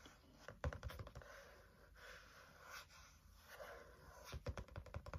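Fingertips tap and drum on the green card or plastic cover of a medium spiral-bound notebook with black wire binding and a solid paper stack, held tilted in hand. The taps come in two quick rhythmic clusters, at the start and at the end, with softer rustling and scratching between them. The sound is dull, low and short, with almost no ring.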